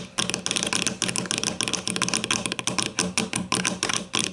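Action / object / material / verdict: tap / plastic deodorant stick casing tapped with fingernails / plastic / none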